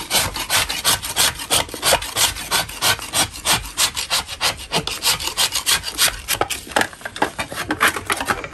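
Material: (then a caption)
Chalk. A metal putty knife scrapes a solid lump of natural chalk, with the loosened powder falling into a bin. The clip is a steady run of quick, rough, bright scraping strokes, about three per second in a loose, uneven rhythm, each a short gritty rasp with almost no low end.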